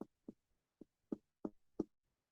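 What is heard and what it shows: Six short, hollow percussion taps on a human chest over the lung, between the shoulder blades, each a brief low-mid thud. The air-filled chest gives normal lung resonance, unlike the duller sound of a desk.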